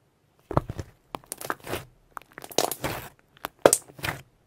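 A solid mass of soft purple shimmer pearl slime is squeezed between both palms, then poked and stretched with fingertips on a white surface, trapping air pockets. Bursts of wet crunching and crackling pops come in uneven clusters, with short quiet gaps between them.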